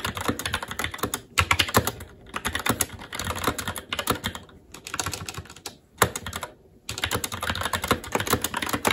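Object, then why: Mechanical keyboard, plastic keycaps on metal plate. Fingertips of both hands type continuously on a SteelSeries Apex 7 TKL mechanical keyboard with red linear switches, black plastic keycaps and an aluminum plate. Rapid, bright clacking key taps come in bursts with brief pauses, including near-silent gaps around 2, 4.5 and 6.5 seconds.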